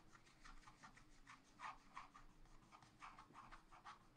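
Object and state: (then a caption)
Scratch art paper being scratched. A wooden stylus scratches flower details into a black wax-coated scratch art paper page in a spiral pad. Soft, irregular scratching strokes repeat quickly, each a short raspy burst centered around 1 kHz with brighter edges. A faint steady low hum sits underneath.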